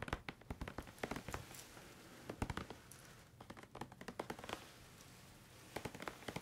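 A grey-white plastic squeeze tube of shower cream is held upright in both hands while fingertips tap it rapidly and squeeze it. Quick, dry plastic taps come in bursts, with soft crinkling squeezes in the quieter stretches between them.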